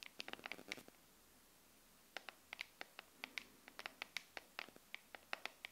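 Long nails tap and scratch on the back of a smartphone in a clear plastic case filled with liquid glitter, held in both hands. Quick, bright, clicky taps come in an irregular series with a short pause near the start. Each tap is crisp and dies away almost at once.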